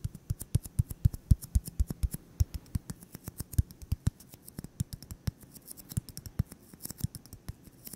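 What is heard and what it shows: A solid white styrofoam ball about 8 cm across is held in the hands and tapped and scratched with fingertips and short nails. The result is a fast, uneven stream of short, dry, deep thuds, about four per second, with faint bright scratchy ticks above them, and each tap dies away almost at once.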